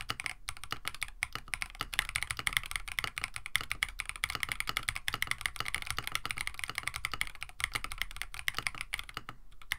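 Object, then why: Mechanical keyboard with plastic keycaps. A compact mechanical keyboard with a plastic case, FR4 plate, PBT keycaps and lubed switches is typed on with the fingertips of both hands on a desk mat. A steady stream of short, bright clacks and taps runs through the clip, with a soft low thock beneath and a few brief pauses.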